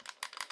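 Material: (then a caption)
Steel. A steel Sig P225 pistol is shaken, and its loose-fitting slide rattles in four quick, bright metallic clicks with almost no low end. The rattle comes from a poor fit that is considered not normal for the gun.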